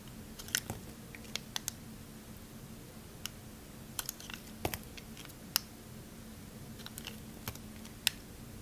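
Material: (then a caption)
Soap. A metal utility knife blade shaves and carves curls off the edge of a solid, hand-sized green Palmolive bar soap held in the fingers. Sharp, bright scraping clicks and crisp cutting snaps sound over a low steady hum, each dying away at once.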